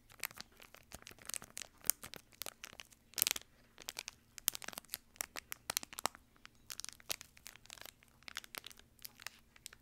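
A small, crumpled, shiny silvery plastic-foil wrapper, empty, is held in one hand and crinkled and scrunched by the fingertips close to the microphone. The result is a dense stream of sharp, bright crackles and crinkles that vary in loudness over a faint low, steady hum.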